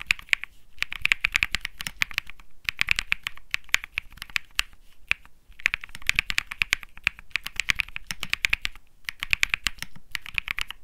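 A 65% mechanical keyboard with plastic keycaps is typed on rapidly with the fingertips of both hands. Dense, bright clicky key presses come in quick bursts, separated by brief pauses. Each press is short and sharp with almost no ring, and the sound is bright overall with a faint low thud beneath it.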